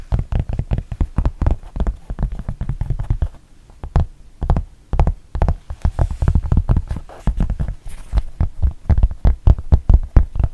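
Long painted nails tap and scratch the black textured rubber back of a thin, solid rubber-backed fabric mouse pad. The sound is a rapid run of soft, dull, low thuds with almost no ring, broken by brief quieter scratchy stretches.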